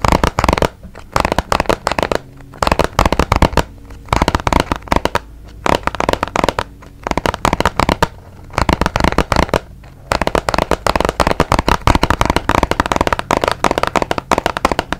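A small, hollow, white and blue printed cardboard box is held beside the microphone and tapped with fingertips and nails. Rapid, dry, clicky taps come in dense bursts separated by brief pauses, each decaying almost instantly. A hollow, low-mid body resonance sits beneath the tapping.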